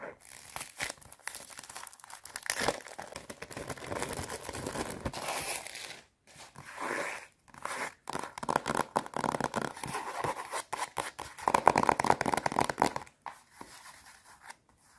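Long nails scratch the crinkly plastic wrap on the cover of a hand-held watercolour paper block, then tap along the side edge of the solid paper stack. The result is bursts of dry, crackling scratches and quick, sharp taps with short pauses between them.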